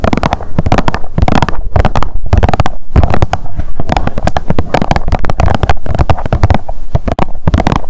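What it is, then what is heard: Plastic sunscreen tube. Long nails rapidly tap and scratch a blue Biore UV plastic squeeze tube of sunscreen lying on a mat. The result is a dense, continuous stream of quick, dull clicks and scrapes, heavy in low thump with bright crackling edges and almost no ring.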